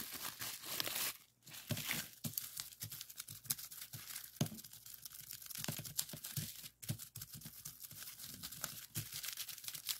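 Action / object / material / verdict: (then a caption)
scrape / plastic bubble wrap / plastic / none. Clear plastic bubble wrap with hollow bubbles is pinched into a small bunch and pressed flat with the fingers. The result is a dense, bright crinkling and crackling with many sharp pops, broken by a couple of brief pauses.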